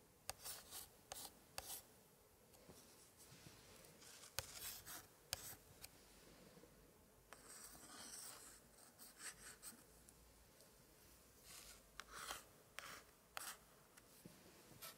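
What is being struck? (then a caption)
Old paper scrapbook page. A thin pointer held in a white-gloved hand traces and scratches across an open antique 1880s paper scrapbook spread of pasted paper pictures. Quiet, bright, dry scratching and rubbing comes in short bursts, punctuated by sharp little ticks and separated by near-silent pauses.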